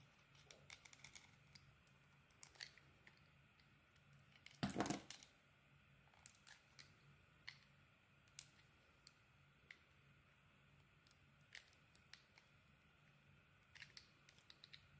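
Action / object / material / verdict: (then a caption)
scrape / soap bar cut with a metal blade / soap / none. A metal blade scrapes and cuts along the surface of a rectangular solid bar of soap, held in one hand, with a pink layer of small beads over a blue swirled core. The steady carving gives a quiet run of short, crisp scratching ticks and crackles at an uneven pace, with one louder, longer shaving burst near the middle. A faint low hum sits underneath throughout.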